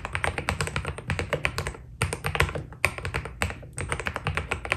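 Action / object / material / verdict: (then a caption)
tap / mechanical keyboard with plastic keycaps / plastic / none. A white Keydous NJ80 mechanical keyboard with PBT plastic keycaps, a steel plate and foam inside is typed on by the fingertips of both hands. Quick, short, dry clacks of key presses follow one another in steady runs, with brief pauses near 2 and 3.7 seconds. A steady low rumble sits underneath the whole clip.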